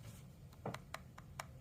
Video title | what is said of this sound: SPIGEN VS BENKS (ENZO ARAMID VS ARMOR PRO) | if you tap on it, it does sound a little loose